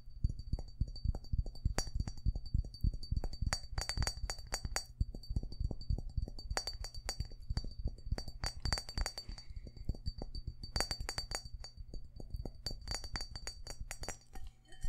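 A glass bowl is tapped quickly with fingers in fast, irregular bursts. Dull low thuds mix with short, bright glass clinks that die away almost at once.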